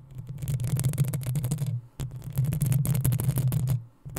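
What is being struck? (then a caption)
Metal mesh microphone grille. Long acrylic nails of both hands scratch the hollow metal mesh head of a black desktop USB microphone. A dense, rapid scraping with a deep, boomy low rumble and fine bright scratchy ticks runs in two sustained bursts, separated by a brief near-silent gap at about two seconds. It drops out again near four seconds before starting once more.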